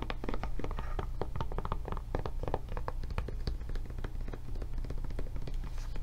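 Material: Silicone rubber.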